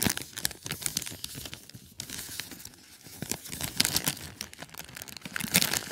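A small white paper gift bag printed with red stars, with a clear plastic star-shaped window and full of popcorn, is squeezed, opened and crinkled by fingertips and short nails. Dense, bright crinkling and tearing-like crackles come in rapid bursts, with the popcorn shifting softly inside.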